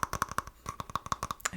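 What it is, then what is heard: Small wooden container. Fingers tap quickly on a small wooden container, producing a run of short, dry, hollow clicks with a woody tone around 1.1 kHz and almost no ring. The taps come in an uneven rhythm with a brief pause partway through.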